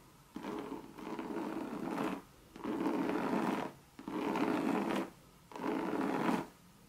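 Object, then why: Coated canvas handbag. Long red nails rub and scratch across a Louis Vuitton monogram coated-canvas bucket bag. Four sustained, scratchy rubbing passes with a midrange texture are separated by short quiet gaps.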